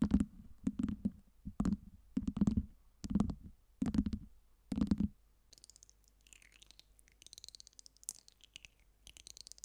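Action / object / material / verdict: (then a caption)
tap / acrylic fake ice cube tower / acrylic / none. Long nails scratch and tap the top cubes of a tower of small, solid acrylic LED fake ice cubes, and fingers pinch and click them. Seven low, muffled, rumbling bursts come first, followed by quieter, bright, scratchy clicks and ticks.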